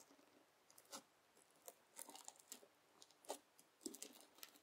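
A white plastic fork is pressed into and scratched across a round mound of red slime packed with plastic beads (floam), flattened on a white table, leaving grooves. Quiet, bright crunching and crackling comes in short bursts as the beads pop and grind under the tines. Faint soft squishing sits underneath.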